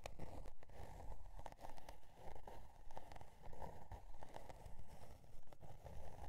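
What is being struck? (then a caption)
Cardboard notebook cover with metal spiral binding. Long dark nails scratch and tap the scale-pattern cardboard cover of a spiral-bound notebook with metal spiral binding. The result is a quiet, steady rhythm of soft, dull scratching strokes and light taps with a faint crackly texture, weighted heavily toward low frequencies.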